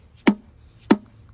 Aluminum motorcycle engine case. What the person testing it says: I think it's free on this end. You just hear how it sounds different here.